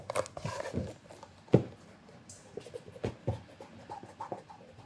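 A black, shiny leather loafer, hollow and held on its side, is rubbed and polished with cloth-covered fingertips. Soft, dull rubbing strokes and muffled low bumps come through, with one sharper tap standing out early on.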